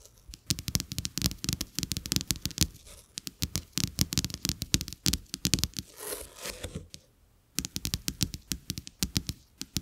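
Two flat coated-paper playing cards with a checked back, lying on a carpet, are tapped and scratched by fingertips and nails. Dense runs of quick, dry clicks with low thumps and bright crackle are broken by a brief scratchy rasp and a short quiet pause before the tapping resumes.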